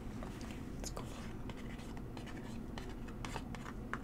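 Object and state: Cardboard box tapped with fingernails.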